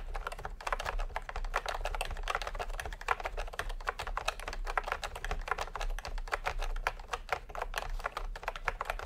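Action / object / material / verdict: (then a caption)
tap / plastic computer keyboard with round keycaps / plastic / none. Fingertips type steadily on a full-size plastic typewriter-style computer keyboard with round retro keycaps in peach and cream, lying on a white cloth. The result is a continuous run of short, dry plastic clacks centred around the mids, over a steady low hum.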